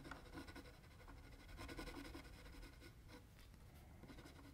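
A mechanical pencil held in the right hand scratches and hatches quick strokes across flat white drawing paper lying on a table, while the left hand holds the sheet still. The result is a quiet, steady, scratchy rasp in loose rhythmic strokes, with a faint low rumble underneath.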